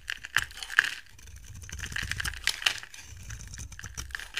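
A utility knife blade shaves flakes off a dry, solid rectangular white soap bar with a gold-coated surface and white interior. Crisp, bright scraping and crackling runs throughout, punctuated by a few sharp clicks, with a tonal edge around 1.7 kHz.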